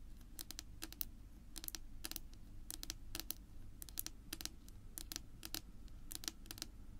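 Long natural nails on both hands rapidly tap a flat, solid dark wood-grain tabletop. The result is quick bursts of short, bright, clicky ticks that die away almost instantly, over a faint low rumble.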